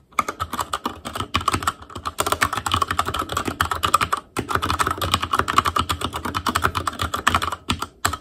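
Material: Plastic.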